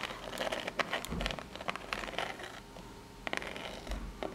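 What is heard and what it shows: Long natural nails scratch up and down the ribbed face of a small rectangular corrugated cardboard box held in both hands. The result is a quiet run of dry, bright, crackly scraping strokes in uneven bursts, with a few sharper peaks standing out.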